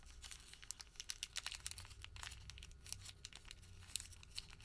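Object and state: Thermal paper receipt being crinkled.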